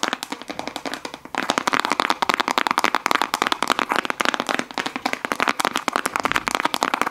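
A small, full, round plastic slime tub with a clear lid and a printed sticker is tapped and scratched rapidly with fingernails. The result is a dense stream of sharp, dry clicks and scratches centered in the midrange, with almost no low end. The sound is quieter for the first second or so, then grows louder and busier.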